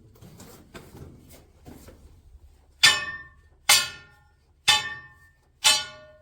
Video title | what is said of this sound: Central Deborah Gold Mine in Bendigo Australia | There's that nice solid sound. We're happy with that, right?